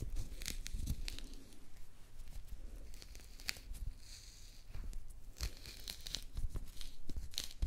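Long nails scratch into the peel of a small, solid mandarin held in both hands and pull it away from the fruit in short tearing strips, leaving the peel partly removed by the end. Sharp, bright crackles and soft crinkling sit over low, muffled thumps, in close, dry bursts with quieter pauses between.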